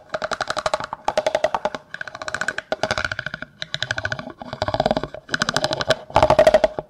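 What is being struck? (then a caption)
Clear plastic cup. A large, hollow, empty clear plastic cup, held open end toward the microphone, is rapidly scraped and tapped with a yellow plastic comb. The sound is a series of fast, dry, clicking bursts in quick rolls with short gaps between them. A hollow resonance sits around 630 Hz, and the strokes die away almost instantly.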